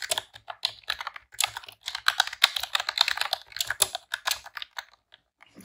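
Long press-on nails and fingertips type in rapid key presses on a pink retro-style plastic computer keyboard with round keycaps. The result is a dense run of short, bright, clicky clacks that die out almost instantly, with a sharp tone around 3.7 kHz and almost no low end. The bursts come in quick clusters, with a brief pause near the end before a final few taps.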